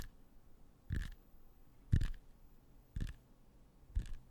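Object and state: Apple tapped with fingernails.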